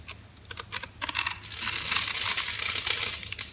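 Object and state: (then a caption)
Bar of soap being cut. A metal utility knife blade carves and scrapes across the pre-scored grid surface of an oval solid soap bar, painted dark on the outside and bright green inside, held in the hand, so small cubes crumble off. Sparse crisp clicks build into a dense, bright crackling and crumbling scrape with almost no low end. The crumbling then tapers into a few quieter ticks.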